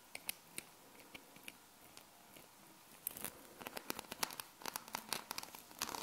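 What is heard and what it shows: A flat hexagonal sheet of small solid metal magnet balls is held in the hands while fingertips and long nails press, fold and scratch across the balls. Sparse, sharp, bright clicks come first, then turn into denser bursts of rapid clicking and crinkly rattling in the second half. The sound is quiet and close, with very little low end, and each click dies away almost instantly.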